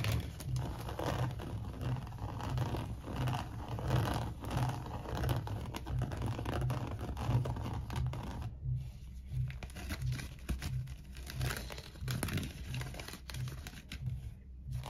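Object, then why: Coiled seagrass rope bowl. Fingertips and nails scratch along the coils of the base and side of a small, hollow, empty coiled seagrass rope bowl. The result is a dry, crinkly scratching and rasping texture. It runs in loose, uneven strokes under a steady low hum, with a brief near-silent gap partway through.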